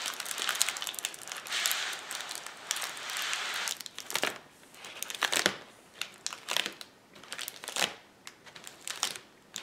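Fingertips press, rub and scratch the bubbles of a flat sheet of clear plastic bubble wrap lying on a table. A dense, bright crinkling rustle fills the first few seconds, then gives way to sharper, irregular crackles and snaps with quieter scratching between them. There is almost no low end and each crackle dies away instantly.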